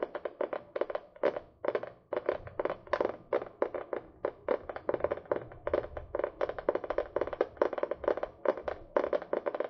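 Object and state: Spiral notebook with paper cover.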